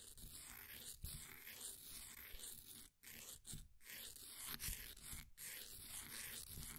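A flat wooden popsicle stick scrapes the top and sides of a solid, green, ball-sized bath bomb of compressed powder sitting in a blue plastic ring holder. The result is a steady, gritty, crumbly scraping with a bright hiss and low rumble, broken by a few brief pauses.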